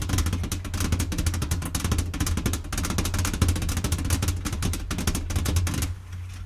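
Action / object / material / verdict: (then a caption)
tap / cardboard game box with contents / cardboard / none. Long-nailed fingertips tap rapidly across the lid of a flat, hollow, blue printed cardboard Mancala box resting on a table with the game contents inside. The fast, steady drumming gives a deep, hollow thump under bright, crisp nail clicks. It stops just before the end, leaving a quiet tail.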